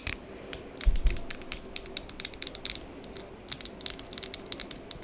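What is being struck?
Acrylic press-on nails.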